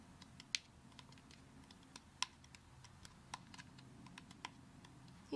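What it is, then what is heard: Whole brown coconut tapped with nails. Long acrylic nails tap the fibrous shell of a whole brown coconut that is held up. Twelve sharp, bright, dry clicks come at an irregular, unhurried pace with almost no ring, over a faint low background hum. A slightly louder, longer scrape-like tap ends the clip.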